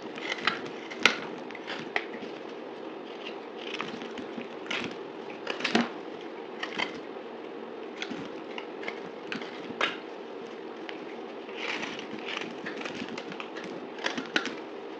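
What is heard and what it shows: A dried, solid pink soap bar with a gold-painted shell is held in hand and cut and scraped with a utility knife blade. Steady crisp, crackly scraping fills the clip, with sharp bright clicks and snaps as the blade bites and flakes break off.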